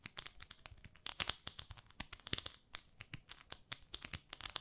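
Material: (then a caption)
Plastic. Long nails scratch a small pink plastic facial cleansing brush pad held in the fingertips. The result is a quiet, rapid string of dry, bright scratching and crackling clicks with almost no low end, each cutting off instantly.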